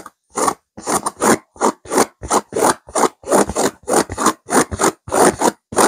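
Long fingernails of both hands scratch a stuffed pillow with a purple velvet cover and a silver geometric pattern. A quick, uneven run of dry, rasping scratch strokes, each a short burst of bright, hissy friction with almost no low end, separated by brief silences.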